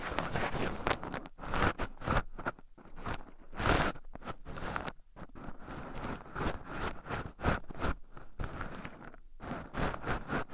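Two wooden chopsticks stir and poke into a small wooden bowl heaped with raw shelled pine nuts, where two microphones are buried in the pile. The result is a steady close-up stream of dry rustling, crunchy scratching and gritty scraping as the nuts shift and rub against each other and the microphones. Short louder bursts of shuffling rise and fall throughout.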